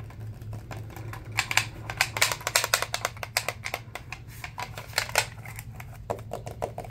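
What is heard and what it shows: Fingertips and nails tap and scratch the rim and body of a black, hollow, hand-span-wide plastic toy steering wheel controller accessory held in both hands. The result is a rapid, uneven run of sharp, bright plastic clicks and brief scratches, with bursts of louder taps. A faint steady low hum runs underneath.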